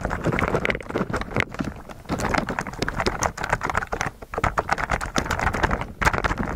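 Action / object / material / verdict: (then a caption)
tap / plastic mechanical keyboard covered in slime / plastic / none. Both hands type with their fingertips on a white mechanical keyboard with plastic keycaps, resting on a table, pressing the keys through a layer of clear blue slime. A dense, continuous run of soft, muffled clicks and sticky squishing presses is heard, with short pauses between bursts.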